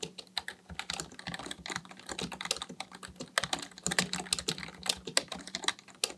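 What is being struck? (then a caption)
Plastic membrane computer keyboard. Fingertips of both hands type continuously on a black plastic full-size Dell KB1421 membrane keyboard with a hollow housing, resting on a desk, pressing and tapping the keys. It makes a quick, uneven stream of short, bright, clacky taps that die away almost instantly, over a faint steady low hum.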